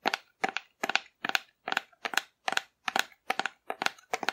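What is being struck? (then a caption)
Painted cardboard dinosaur figure. Long nails tap and scratch the body of a hollow, painted cardboard dinosaur held upright. Eleven short, dry bursts of crisp clicking and scraping come at a steady pace, each made of several quick ticks. They are bright and papery with no low end, and each stops almost at once.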